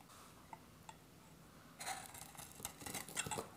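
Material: Soap.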